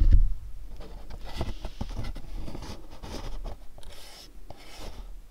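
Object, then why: Small cardboard box. Fingernails rub and scratch across a pink cube-shaped cardboard candle box, making a steady dry, papery scraping with brief scratchy strokes. A dull low thud sounds at the very start, and then the rubbing carries on at a quiet, even level until it fades slightly near the end.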